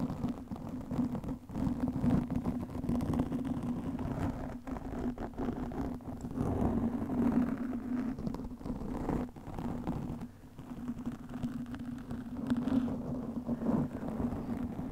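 Long nails scratch a black foam windscreen over a microphone, making a steady, dense rustling and crackling. A low hum holds near 200 Hz, and the sound dips briefly at a few points before it continues.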